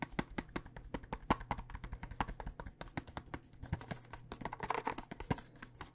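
Long nails tap quickly across the surface of a clear plastic tube full of dice with a cardboard end, held horizontally. Dozens of short, dry, hollow clicks follow one another in an uneven rhythm, each dying almost at once, with a faint low hum underneath.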